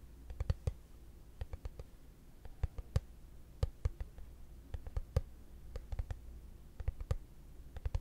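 A hollow, translucent frosted plastic case is held flat and tapped with fingertips and short nails. The result is a steady, irregular string of short, dry clicks that die away almost instantly, over a constant low hum.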